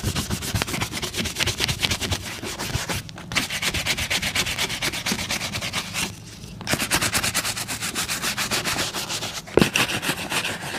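A wooden-backed bristle brush scrubs the toe and vamp of a brown leather boot worn on a foot, while the other hand steadies the boot. Rapid back-and-forth strokes make a steady, bright, hissing rasp with a soft low thump under each pass. The scrubbing pauses briefly around the three- and six-second marks before resuming.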